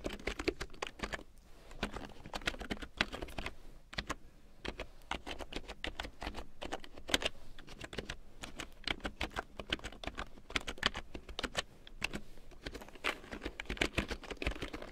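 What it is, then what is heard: Plastic keyboard being typed on. A full-size large print keyboard with a black plastic frame and big yellow plastic keycaps, lying on faux fur, is typed on with long painted nails and fingertips. It makes a steady, dense stream of quick, bright plastic clicks and taps that die away almost instantly, with some keystrokes landing louder than others.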